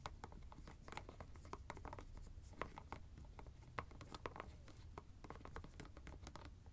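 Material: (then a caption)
Plastic. Fingertips twist and scratch the white plastic screw cap of a teal fabric ice bag, making a rapid run of short, dry clicks and scrapes with bright edges. A steady low rumble sits underneath the quiet scratching throughout.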